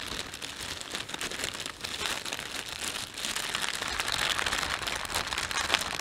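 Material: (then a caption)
Plastic. A thin, empty plastic panda shopping bag is rubbed and stretched between thumbs and fingertips. It gives a continuous, bright crinkling with dense rapid crackles. The rustle grows slightly louder toward the end.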